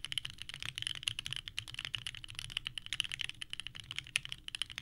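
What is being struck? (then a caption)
Mechanical keyboard with plastic keycaps. A small 65% mechanical keyboard with a purple case and white ABS keycaps sits on a desk mat while both hands type continuously with the fingertips. The result is a fast, steady stream of bright, clacky key presses that each stop almost instantly, with a faint low thud underneath.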